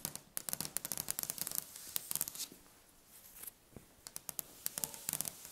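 Long red-painted nails quickly tap and scratch the surface of a large, solid, polished dark wooden tabletop. The result is a fast, aggressive run of short, sharp clicks and bright scratching hiss. The sound pauses briefly in the middle and then resumes with more quick taps.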